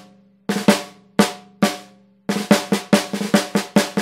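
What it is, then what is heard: Brass-shell snare drum. A Pearl Sensitone brass snare drum, 14x5 in, with a hollow metal shell and a coated plastic head, is tapped and rolled with wooden drumsticks. Twelve sharp, bright cracks ring briefly around a tone near 207 Hz. They come first as scattered strokes, then as a faster, uneven run.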